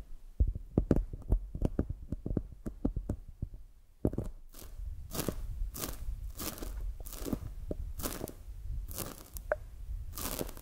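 A palm-sized, solid polyurethane foam squishy toy shaped like a glazed donut is held in both hands and tapped and squeezed with long acrylic nails and fingertips. The first few seconds bring rapid, dry clicking taps; then the sound shifts to softer, crinkly, crunching squeezes and scratchy brushes that repeat in short bursts.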